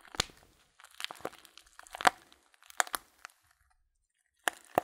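A small, filled Blutorange paper tea bag is held upright in both hands while the fingertips squeeze and crinkle the paper. Short, dry crackles and crunches come in bursts separated by brief silences, with a few sharper snaps standing out. The sound is quiet, bright and papery, with almost no low end.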